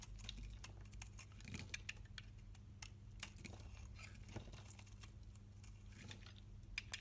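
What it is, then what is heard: Soap bar being shaved. A solid rectangular bar of green-and-white striped soap, held in hand, has its corner and face shaved with a box-cutter blade into small flakes. The result is a quiet, steady run of crisp, bright scraping and ticking cuts over a constant low hum.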